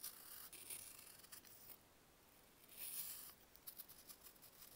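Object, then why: Pressed baking soda block scraped with a metal knife. A metal knife carves layered slices off a small, solid pressed baking soda block held in bare fingers. Crisp, bright scraping comes in bursts, with a quiet pause in the middle and a louder scrape around the three-second mark. It ends in short, sharp flakes and ticks.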